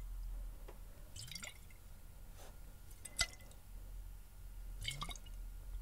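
A clear glass bottle partly filled with water is held close and tilted and shaken, with fingers gripping the glass, so the water sloshes inside. Quiet gurgles and rising, bubbly chirps alternate with a single sharper, bright drip-like plink midway, over a steady low background rumble.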